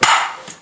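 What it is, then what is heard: Hollow floor tile. A plastic ball bounces twice on a hollow ceramic floor tile with a void underneath, giving a bright, hollow knock centered around 1.2 kHz that rings for about a quarter second, followed by a softer second bounce. The tile sounds hollow, clearly different from a solid one.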